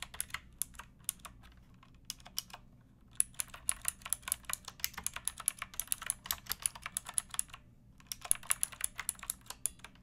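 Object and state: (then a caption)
Plastic mechanical keyboard being typed on. Long-nailed fingertips type on a pink backlit mechanical keyboard with plastic keycaps resting on a wooden block. Quick, bright, clacky keystrokes come in three runs, separated by short pauses, over a faint low hum. Each click is crisp and dies away almost at once.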